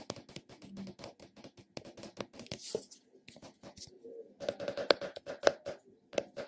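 Fingertips and nails tap and scratch the recessed top and rim of a round purple plastic cosmetic container. Quick, irregular light plastic taps and clicks mix with dry scratching. A few sharper taps ring briefly with a hollow mid-pitched tone around 570 Hz, and the sound is short and bright.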